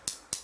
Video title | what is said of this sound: 퀄컴 퀵차지 3.0 AUKEY CC-T7 외 고급케이블 소개 | 금속 소리가 나죠. 이게 이 부분 두들겨 봐도 이 부분까지도 다 금속입니다.